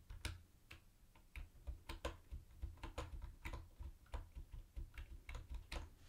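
Fingertips type on a mint-green plastic typewriter-style keyboard with round white plastic keycaps and a hollow body. Quick, short clicks with bright transients sit over a steady low hum, each key strike dying away almost at once.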